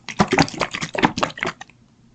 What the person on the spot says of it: hear that sloshing around in there now